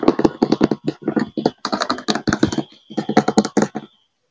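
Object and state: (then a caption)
Plastic monobloc chair. Fingertips and nails tap and scratch the hollow, thin-walled seat and backrest of an empty cream-colored molded plastic monobloc chair. Quick, dry clicking taps with brief scratchy strokes come in bursts separated by short pauses, with a hollow plastic tone around 320 Hz. Each hit dies away almost instantly.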